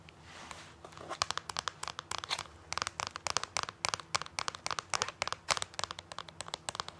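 Fingertips and nails scratch and rub a plastic Snow White DVD disc held in a clear plastic sleeve on a DVD binder page. The result is a dense run of quick, bright crinkles and scratches over a faint steady low hum, with each sharp tick dying away almost instantly.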